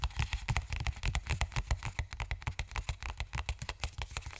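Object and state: Plastic lotion tube.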